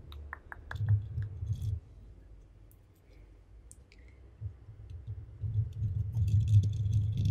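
Both hands scratch and rub a black foam windscreen, a soft porous cover over a microphone head, with long painted acrylic nails. Quick, clicky scratching onsets sit over a deep, muffled rubbing rumble that quiets in the middle and swells louder again toward the end.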